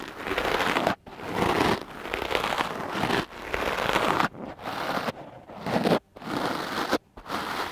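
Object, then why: Foam microphone windscreen brushed with a stiff bristle brush. A dark-blue porous foam microphone windscreen, held in one hand, is brushed with the stiff black bristles of a light wooden clothes brush. Dense, scratchy crackling strokes come in quick bursts, each broken by a brief near-silent gap. The rustle is bright and broadband with little low end.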